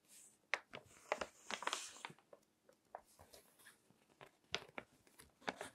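Fingertips turn the pages of a crinkled glossy paper magazine resting on a table. Sharp, bright crinkles and crackles come in a series of quick bursts over a faint hiss, each one dying away almost at once.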